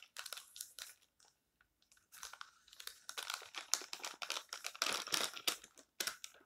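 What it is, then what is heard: Thin magazine paper rustling. Fingertips rub the pages of an open, thin paper tabloid magazine lying flat, then lift and turn a page, crinkling it. Bright, dry rustles come in quick irregular bursts, pause briefly, then build into denser crinkling before easing off.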